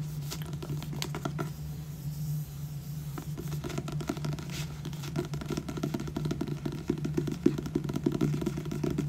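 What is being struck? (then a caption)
Paperback book with a glossy card cover. Fingertips and nails tap and scratch the glossy card front cover of a purple paperback book, "Losing Hope," with a solid paper block. Quick dry taps and soft scraping scratches sit over a steady low hum, growing a little denser and louder toward the end.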